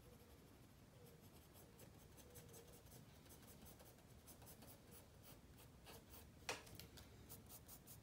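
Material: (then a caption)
Paper. A black mechanical pencil held in the fingertips scratches and shades on a spiral-bound paper sketchbook page lying flat on a wooden table. Quiet, continuous scratchy strokes come in short bright bursts over a faint steady hum near 500 Hz, with one sharper tick of the pencil about two-thirds of the way through.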